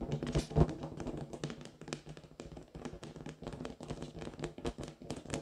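A large, pink, hollow latex rubber balloon, inflated with air, is tapped and scratched with long fingernails. It gives many quick, dull, low taps with short scratchy brushes between them, and the sound is muffled and fades almost at once.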